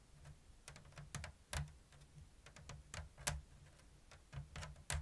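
Long blue nails tap a round, hollow basket of thin bamboo strips woven in an open diamond pattern. About fifteen crisp, bright clicks come at an uneven slow-to-medium pace, each carrying a soft, hollow low knock around 150 Hz. Every tap dies away almost instantly.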